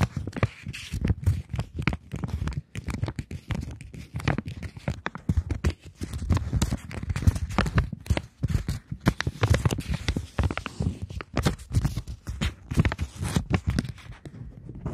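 A polymer £20 banknote, folded into a strip and held between both hands, is tapped and scratched across its plastic surface by long nails. It gives a steady run of quick, dry taps and crinkling scratches with almost no ring, weighted toward a soft low thump.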